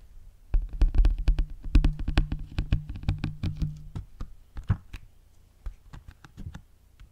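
A flat, square, hand-sized red printed paperboard Veleasha false-eyelash box, likely hollow with lash trays inside, is held in both hands and tapped and knocked with fingertips and nails. About two dozen quick, irregular, dull low thuds with faint clicky edges come in a dense run for the first few seconds, then thin out into sparser, quieter taps. A low hum sits underneath.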